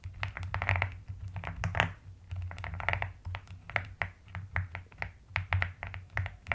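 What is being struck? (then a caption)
Plastic mechanical keyboard. Long-nailed fingers type and tap continuously on a white and pastel plastic mechanical keyboard. Rapid, short, dry clicks with a bright edge come in uneven bursts over a steady low hum.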